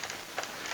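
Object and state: Baked-through damper, hollow.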